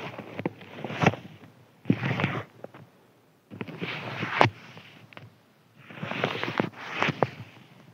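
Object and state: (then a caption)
Crinkly paper sheet scratched. Fingertips scratch and rub a thin white crinkly paper sheet lying flat on a table. Several bursts of dry, crackling rustle, bright and broad with sharp snapping crinkles, are separated by near-silent pauses.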